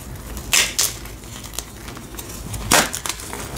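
A palm-sized, solid white block of gym chalk (magnesium carbonate) is held in both hands and squeezed and crushed by fingers and thumbs over a pile of chalk powder. Crisp, bright crunches burst out in short, sharp snaps, with faint crackling between them.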